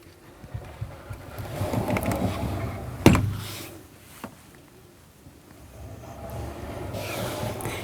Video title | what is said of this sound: Luxe Elite Luxury Fifth Wheel 39FB - Review | listen to it when I close it you can hear the weight in it you can tell it's substantial